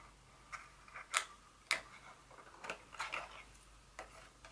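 Very long fingernails tap on a small, hollow, white folded cardboard insert from a Dior fragrance box. The quiet, irregularly spaced taps are short, dry and bright, with a hollow knock near 1.2 kHz and almost no ring after each one.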